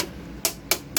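Three light taps on the plastic front panel of a newer, very light Lenovo-era ThinkCentre desktop computer case give short, bright clicks that die away almost at once. The loose front panel sounds hollow, unlike the solid front of an older case.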